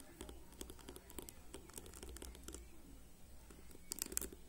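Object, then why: Plastic hairbrush bristles. Fingernails of one hand rapidly flick and scratch the rows of white-tipped plastic pins on a whole black plastic hairbrush lying on a table. The result is a quiet, continuous patter of short, bright ticks and scratchy crackles over a low background rumble, with a sharper cluster of clicks near the end.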